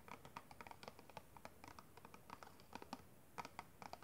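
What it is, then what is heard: Clear plastic packaging box. Fingertips and long red nails tap and scratch across the faces of a small, hollow, clear plastic packaging box holding a pink kabuki brush. The result is a quiet, irregular run of short, dry plastic clicks and light scratches, with a hollow midrange tick around 1 kHz and almost no ring after each tap.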